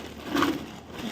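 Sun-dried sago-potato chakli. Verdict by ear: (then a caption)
Crisp. A sun-dried red chilli sago-potato chakli is snapped, giving a single short crunch centered around 300 Hz with a brief crackle, before quiet background noise resumes. The crunchy break shows it has dried well and turned out crisp.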